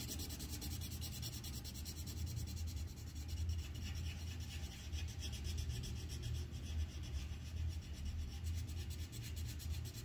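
A red wooden colored pencil rubs quick, repeated strokes across a thin white paper sheet on a clipboard to fill in the pot area. The result is a steady, rhythmic scratchy rasp with a faint bright hiss over a dominant low rumble, continuing without pause for the whole clip.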